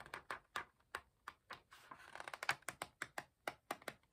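Fingertips rub and flick a raised paper page of an open hardcover book while turning it. The result is a quick series of short, dry, bright ticks and taps, with a soft papery rustle in the middle, quiet overall and with almost no low end.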